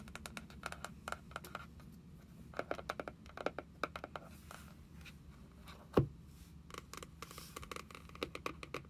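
Long nails tap on the printed card cover of a small closed paperback journal lying flat on a wooden table. Quick, dry clicking taps come in irregular bursts over a low steady hum, with one louder, duller knock partway through.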